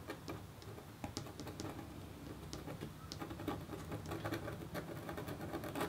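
A metal stylus in a red wooden holder scratches a flat copper scratch art sheet. Short, patter-like scratch strokes come in quick, uneven bursts over a steady low hum. Bright, crisp flicks cut through at times.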